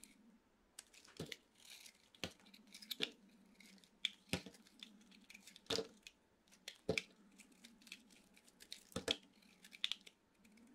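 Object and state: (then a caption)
Dry bar soap. A utility knife blade scrapes crunchy slices off a hand-sized, solid white dry soap bar with a teal coating. Sharp, bright crackling crunches and short scraping bursts come in irregular clusters over a faint, steady low hum. Each crunch stops almost instantly with no ring.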